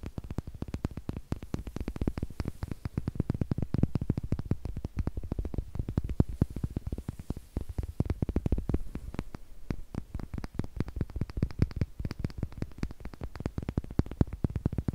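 Two small, solid, unfinished wooden eggs are held up in the fingertips, tapped with fingernails and clicked together. The result is a rapid, steady stream of short, dry clicks and taps with a soft low body and almost no ring, continuing for the full fifteen seconds.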